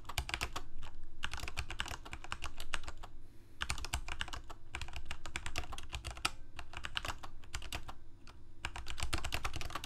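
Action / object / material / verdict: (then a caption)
tap / plastic mechanical keyboard keys / plastic / none. Fingertips of both hands type rapidly on a full-size Corsair mechanical keyboard with plastic keycaps on mechanical switches, a hollow plastic case, and blue backlighting. Dense bursts of sharp, bright key clacks come in runs separated by brief pauses, each keystroke backed by a low, hollow thump. The clicks decay quickly.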